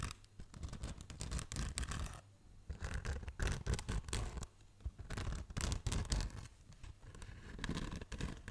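Long nails scratch and rub the textured surface of a black polyethylene foam packaging insert held up close. The result is dense, irregular bursts of dry, crackly scratching with a heavy low rumble underneath. These are broken by brief quiet pauses around the 2.5 and 4.7 second marks.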